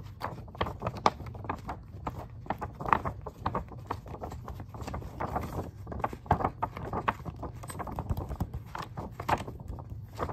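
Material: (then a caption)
Paper. Fingertips and short nails tap and scratch the open pages of a glossy printed magazine held up in the air, its thin, layered paper giving back quick, crisp ticks and papery scrapes over a low, soft rumble. The hits come fast and uneven for the whole clip, with a few sharper taps standing out, and they die away almost instantly with little bright content.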